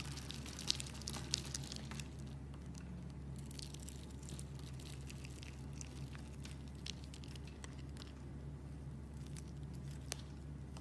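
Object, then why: Bar of soap. A metal blade scrapes and cuts a solid, hand-sized bar of pale green soap scored into a grid, shaving off small cubes. Soft, irregular crisp scraping and crunching ticks with bright edges sit over a steady low hum. A few sharper clicks stand out from the quiet, even texture.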